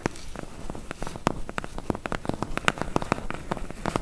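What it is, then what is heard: Cardboard box tapped with fingernails. Long fingernails tap very fast on the front bottom edge of a medium, closed, hollow corrugated cardboard box. The result is a rapid, uneven run of short, dry clicks with a hollow, low thump under each one, and each tap dies away almost instantly.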